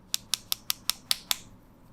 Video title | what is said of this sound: OnePlus Buds Pro Matte Black-- Unboxing, Setup & Impressions -- India Retail Unit | this feels more solid